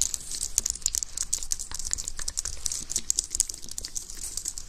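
A white, slim plastic computer keyboard with a hollow housing is typed on with fingertips, then held above the microphone in both hands while fingers tap and press on the keys and underside. The result is a rapid, steady stream of short, crisp plastic clicks and taps with a bright, high-frequency edge and a faint low thump beneath, each click dying away almost instantly.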